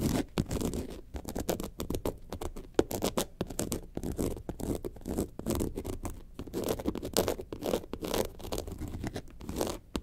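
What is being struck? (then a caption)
Faux leather bag. Long nails scratch the white and yellow panels of a faux leather, lemonade-carton-shaped bag lying on its side. Quick, dry scratching strokes follow one another steadily throughout, each dying out almost instantly, with a soft, muffled scrape.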